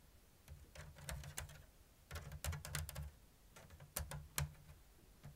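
Long blue nails tap and scratch a round, hollow basket woven from thin bamboo strips in an open diamond weave. Irregular, slow-to-medium bursts of dry clicks and bright, crackly scratches stop quickly, over a steady low hum.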